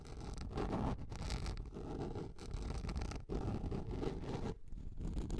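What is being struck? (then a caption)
Plastic container lid. Long nails scratch across the flat surface and raised ring of a large, round yellow plastic container lid held upright. The result is a continuous, dense scraping rasp, heavy in the low end. It breaks off briefly in a few short pauses before resuming.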